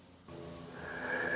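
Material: Nothing is struck.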